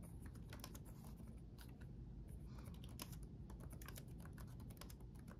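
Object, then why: Laptop keyboard with plastic keycaps. Rapid key taps on the backlit chiclet keyboard of a black laptop, with plastic keycaps on a solid chassis, typed with the fingertips of both hands. Quick, bright plastic clicks patter steadily over a constant low rumble at a quiet, even level.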